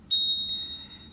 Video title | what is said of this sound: Avoid These Fake Silver Bars! More Testing, We show you how! | tap them against each other and you can hear a very distinct ring that it makes when you tap them together